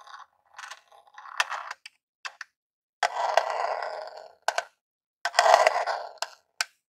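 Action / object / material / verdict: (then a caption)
scrape / small plastic game console casing / plastic / none. A long rhinestone-covered acrylic nail scratches and taps the top surface of a small grey hollow plastic Super Nintendo Classic console resting on a table. Short, sharp clicking taps alternate with longer rasping scratch strokes. The sound is dry and mid-to-high pitched, with almost no low end.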